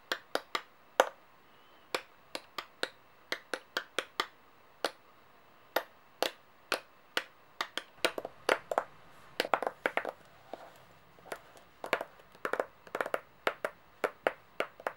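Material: Metal.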